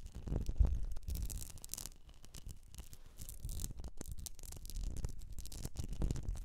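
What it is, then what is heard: Wax-filled glass candle jar. Long nails tap and scratch the sides of a medium etched glass jar filled with solid wax. The result is a quiet, continuous run of soft scratching and brushing textures, with dull low thumps from the taps underneath, quick bright rasps that die away at once, and no ring from the glass.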